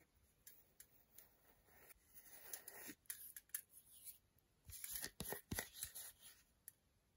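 Long nails scratch the back of a solid milk chocolate bar held in the hands and tap quickly on its segmented front. Soft, brushy scratching gives way to sharp, bright clicking taps in uneven bursts, with quiet gaps between them.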